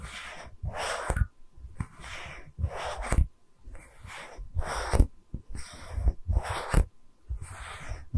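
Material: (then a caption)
Wood. A small, round, solid wooden tree-slice stand with growth rings is held in both hands and tapped and scratched with long red nails. Rhythmic bursts of dry, hissy scratching alternate with soft, dull low taps and brief pauses between strokes.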